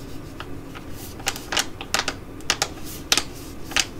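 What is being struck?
Thin plastic foil sachet.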